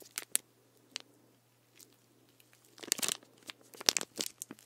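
Fingertips and nails scratch and tap the label and ridged body of a full plastic sports drink bottle of green drink with an orange cap, tilted near the mic. Sharp, bright clicks and crinkly scratches start sparse and quiet, then grow denser and louder toward the end over a faint steady low hum.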